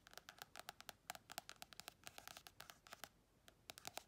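Long red chrome nails scratch and tap quickly on the glossy card cover of a small paperback colouring book. About 28 quiet, dry taps and scrapes come in an uneven run, each stopping almost instantly. They have a papery, bright tone centred around 700 Hz, with almost no low end.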